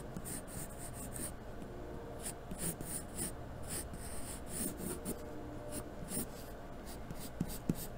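A graphite pencil held in the hand scratches and shades across a sheet of white drawing paper taped flat to a cardboard desk surface. The repeated, uneven strokes make soft, papery scraping bursts with a bright hiss over a low, steady rumble, ending in a few sharper taps.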